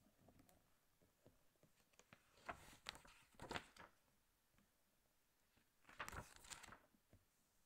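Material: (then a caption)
Glossy paper. Fingertips from both hands, lying flat on a large open glossy paper National Geographic magazine on a glass table, rub and scratch across the slick pages, with occasional page turns. Faint papery scratching and light ticks run throughout, broken by two louder bursts of bright, crinkly rustling, one in the middle and one near the end.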